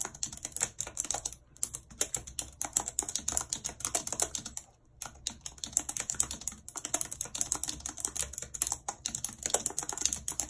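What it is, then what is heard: Plastic computer keyboard being typed on. Long red acrylic nails type rapidly on a full-size white plastic computer keyboard with a numpad and hollow keys, lying on a world map. Dense streams of sharp, bright plastic clicks and taps rattle on with almost no ring, broken by two brief pauses near 1.5 and 5 seconds.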